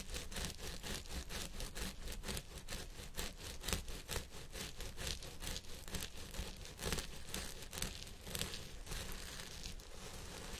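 Fingertips and nails of both hands vigorously scratch the fibers on both sides of a purple synthetic wig on a head form. The result is a dense, continuous crackling rustle with quick, irregular bright bursts about twice a second over a steady low rumble.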